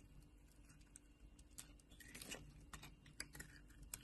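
A metal knife blade held at the edge of a solid orange soap bar shaves off thick layered flakes. Quiet, crisp ticking and crackling scrapes come in bright, dry snaps over a low steady hum, with a longer crunchy scrape in the middle.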